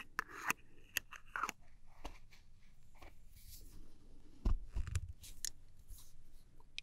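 Long nails scratch and tap the metal body and clear plastic cap of a small gold aluminum travel spray bottle. The result is a series of quick, dry scratchy clicks with bright crisp edges and short rasping strokes over a soft low rumble. Louder taps come near the start and again around the middle.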